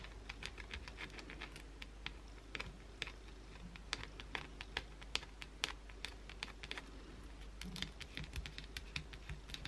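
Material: Soap.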